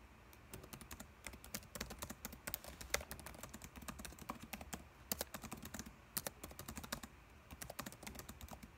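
Fingertips type steadily on a dark laptop keyboard with plastic keys. Quick, bright plastic clicks land in a dense, uneven stream, each one dry and short with a soft low thump beneath, over a quiet background.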